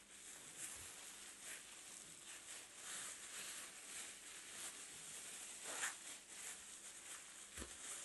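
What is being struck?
Nothing is struck.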